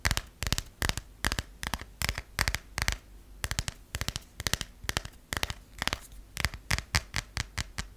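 A US passport booklet with a cardboard/vinyl cover over paper pages is tapped with fingernails, then partly opened and its pages riffled by the nails. Quick clusters of sharp, dry clicks with a bright papery edge repeat throughout, separated by soft rustling gaps.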